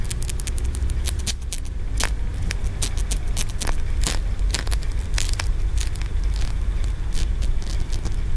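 Fingertips and nails tap and scratch along the ridges of a solid green aventurine stone tiered pagoda, a feng shui piece. Rapid, sharp, bright clicks and scrapes sound throughout over a steady low rumble.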